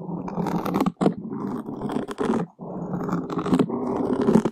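Wooden skewer tips drag and scratch across the surface of a large black open-cell foam windscreen on a microphone. The result is a close, dense, scratchy rustle with a muffled low-mid body, heard as long continuous strokes separated by brief silent gaps.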